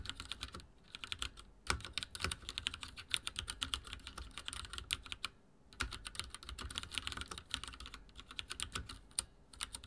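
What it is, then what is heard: Plastic mechanical keyboard being typed on. Fingertips of both hands rapidly type on a full-size backlit mechanical keyboard with dark plastic keycaps and linear switches, resting on a wooden desk. The result is a fast, dense stream of short, bright plastic clicks and clacks, with brief pauses near the start and the middle.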